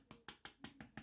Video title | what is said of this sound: Sony Xperia 1 Test, le smartphone grand format | ça sonne creux c'est pas c'est pas terrible terrible pour un téléphone